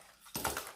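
Rice grains are poured onto a metal container after a brief quiet lead-in. They land as a sudden bright, rattling patter with three louder clinks, carrying a short metallic ring around 900 Hz and 1.4 kHz. The sound then fades as the grains settle.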